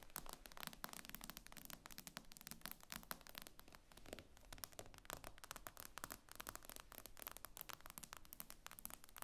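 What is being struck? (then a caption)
Glass tablet screen. Long acrylic nails tap and scrape across the glossy glass screen of a tablet lying flat on a table. Dense, rapid clicking taps and light scratchy scrapes run continuously with bright transients, each tap dying away almost instantly over a faint low hum.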